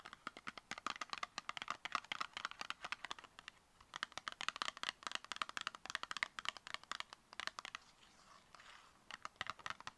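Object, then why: Small cardboard product box. Long nails tap fast on the faces and edges of a small, tall, closed brown cardboard cosmetic box. Dozens of quick, dry, bright clicks come in rapid bursts with brief pauses, carrying no low end and dying instantly. A soft papery rustle fills a short gap near the end.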